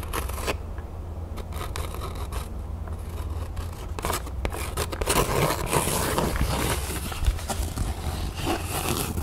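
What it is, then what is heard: Canvas fabric pouch being scratched. Long nails scratch the surface of an unwrapped cotton canvas pouch printed with a crown, held close to the camera. The result is a dense, irregular rasping and scraping that grows louder and brighter about halfway through, over a steady low hum.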